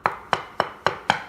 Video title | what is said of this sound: Best Way to Waterproof Your Addition | listen to this one. That one's hollow.